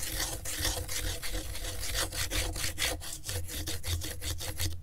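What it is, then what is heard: Corrugated cardboard scratched with a pen. A pen tip traces and scratches back and forth across the ridged surface of a flat piece of brown corrugated cardboard, held by a gloved hand on griptape. The result is a steady run of dry, raspy strokes with bright, scratchy texture over a low, rumbling undertone.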